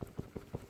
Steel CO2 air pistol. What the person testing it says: Nothing, no rattles, nothing at all. Nothing rattles, nothing's loose, nothing.